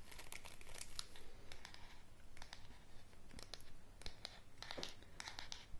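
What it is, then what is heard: Wooden hairbrush bristles scratched. Long nails scratch across the mixed bristles of a wooden hairbrush with a solid handle as the brush is turned in the hands. The result is a steady stream of dry, crinkly scratching with many short, sharp bright clicks, quiet and close.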